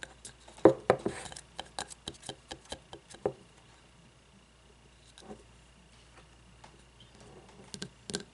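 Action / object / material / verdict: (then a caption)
tap / frosted glass candle jar with wax / glass / none. Long nails tap and scratch the sides of a frosted glass candle jar with wax inside and no lid, held tilted and then upright. A quick run of sharp, short clicking taps fills the first few seconds, followed by a quiet stretch of faint scratching, then a few more bright taps near the end.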